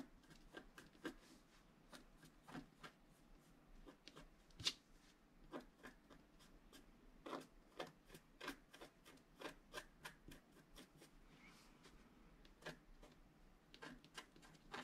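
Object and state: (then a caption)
Scratch art card being scratched. A wooden stylus scratches slow, fine lines into a flat scratch art sheet, a black-coated paper board. The result is a quiet series of short, dry, bright scratching strokes with little low end and almost no ring after each one.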